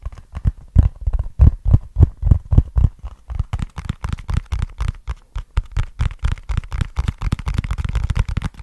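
Fingertips tap and scratch on a small, flat, hollow brown cardboard box with a barcode label. The result is a quick, uneven run of dull, deep, hollow thuds with very short decay, spaced apart at first and then coming faster and denser with light scratching between them.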